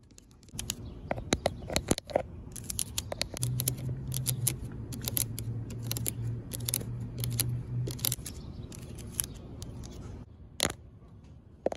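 Long pink acrylic nails scratch and tap the black coated steel mesh seat of a large outdoor picnic bench with hollow honeycomb openings. Quick, crisp, bright rasping strokes and sharp ticks come in rapid bursts over a steady low rumble, with a louder tap near the end.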